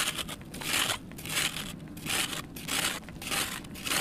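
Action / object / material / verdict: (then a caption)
scrape / sand-cement block shaved with a knife / sand cement / none. A kitchen knife shaves and scrapes the face of a small, solid, soft and crumbly red sand cement block held in one hand over a bin of loose red powder. Repeated strokes give a dry, gritty, bright rasp with crackly crumbling texture and little low end. Powder falls off the block with each pass.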